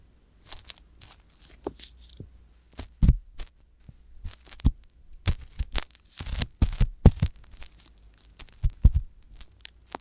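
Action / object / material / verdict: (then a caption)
scrape / silicone microphone ear scraped by a metal-tipped wooden pick / silicone / none. The thin metal tip of a wooden ear pick scrapes inside the ear canal of a soft silicone ear on a white box binaural microphone. It makes irregular bursts of close, dry scratching and crackling, some bright and some dull, over a steady low hum.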